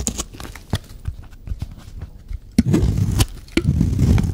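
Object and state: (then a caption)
Dry soap bar being scraped. A hand-sized, solid, dry white soap bar is scraped along its edge with a metal blade, shaving off curls. Short, dry clicks and scratches come first, then louder, crumbly scraping with sharp ticks. The sound is mostly low and soft-edged, with very little bright content.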